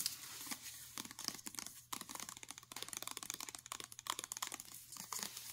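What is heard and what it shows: Long nails rapidly tap the label of a full plastic mayonnaise jar and scratch the ridges of its ribbed black plastic lid. The result is a quiet, bright run of fast, crisp clicks and crinkly scraping with almost no low end, each tap dying away quickly.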